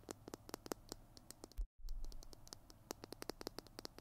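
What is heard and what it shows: Fingernails tap and scratch the surface of a Tombow PiT glue stick, a small hollow plastic tube with a blue cap, held in both hands in front of the mic. A rapid series of sharp, dry clicks with bright ticks rides over low handling rumble and faint hiss. Partway through, a brief thump is followed by a moment of complete silence before the tapping resumes.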